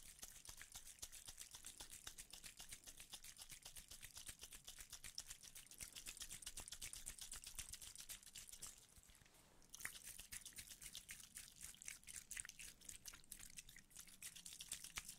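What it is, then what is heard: Aluminium tube container. A small hollow aluminium tube container is held and turned in the hand while fingertips and nails tap and scratch its surface. The result is a dense stream of quick, bright, crisp clicks and scrapes with almost no ring, with a short quieter gap about two-thirds of the way through.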